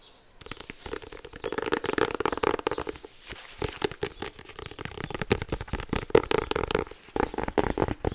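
A small white polka-dot 2024 agenda planner with a card-covered hardback, held closed in both hands, is tapped and rubbed with fingertips and nails. It makes a dense run of quick, dry taps and scratchy, crinkly rubbing with a hollow midrange knock that stops almost instantly. The papery scratching is bright, and the taps come in uneven bursts with brief pauses.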